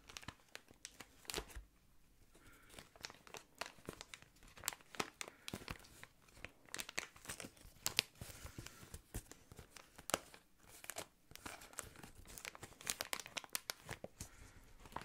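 An inflated clear plastic air column cushion is held up while fingernails scratch its surface and fingers squeeze it. The result is quiet, bright crinkling and crackling in a dense run of short, sharp ticks, with occasional louder snaps that stop almost instantly.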